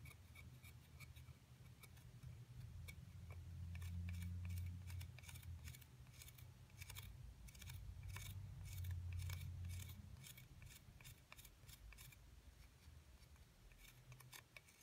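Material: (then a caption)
Plaster. A flat metal spatula-style pick scrapes down the side edge of a solid white plaster block with embossed lettering while the other hand steadies the block. Quick, fairly regular, bright scratchy ticks repeat about three to four times per second. Beneath them runs a steady low rumble that swells louder around the middle and again near the end.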